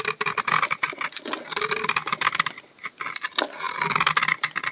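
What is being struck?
Bar of laundry soap scraped with a knife blade.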